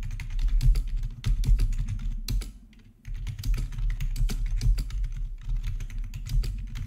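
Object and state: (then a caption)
Plastic membrane keyboard being typed on. Both hands type with their fingertips on a plastic RGB membrane keyboard with black, backlit plastic keycaps resting on a marble surface. Quick, uneven clacks and taps come in a steady stream with a short pause near the middle. A low, continuous rumble sits underneath the sharp, bright key clicks.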